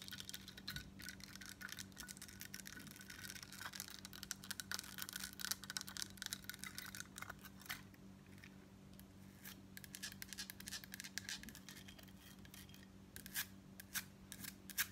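Long nails tap and scratch a crescent-embossed gold-tone metal bib necklace plate while it is held up and tilted in the hands. Quick, bright metallic clicks and dry scratching run throughout at a quiet level, with very short ring and a steady low hum underneath.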